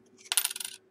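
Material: Aluminum.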